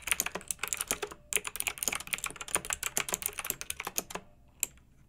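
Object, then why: Plastic mechanical keyboard with round keycaps. Both hands with long nails type rapid key presses on a pink, backlit, retro plastic mechanical keyboard with round keycaps. The bright, crisp clacks come in fast bursts, with a short pause near the 1-second mark. The typing stops just after 4 seconds, and one final key press follows.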